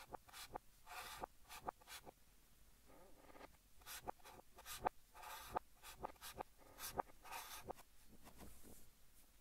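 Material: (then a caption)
Chalk. Fingertips hold a blue chalk stick and write Korean text on a large, flat green chalkboard, scratching it across the board. Quiet, irregular strokes come as short, bright, gritty scrapes, some with a thin squeaky tone near 780 Hz, separated by brief near-silent pauses.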